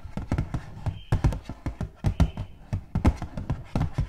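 Long gold metal claw nails tap rapidly on the flat face of a hollow, purple butterfly-printed cardboard gift box. The taps come in an uneven, quick patter of dull, low, hollow knocks that stop dead with no ring, and a faint thin tone hums briefly in the background.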